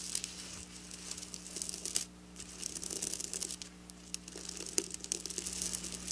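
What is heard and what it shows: Long black nails scratch and rub across flat silver sequin fabric, producing bright, crinkly, tearing-like rustles in dense bursts. The scratching briefly quiets around two seconds and again near four seconds, with a faint steady low hum underneath throughout.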